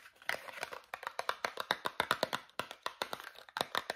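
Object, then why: Small cardboard toothpaste box. Fingernails tap quickly across the flat faces of a small Meridol cardboard toothpaste box. The rapid series of short, dry, clicky taps is bright, with almost no low end. Each tap dies away almost instantly.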